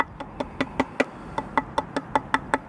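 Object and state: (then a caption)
Clear plastic skateboard deck that sounds glassy when knocked. Twelve quick knocks on the underside of a see-through, flexible board with wheels, which bends yet sounds like thick glass. Each knock is a short, hard, glassy tap with almost no ring, pitched around middle C, at a steady pace with slightly varying force.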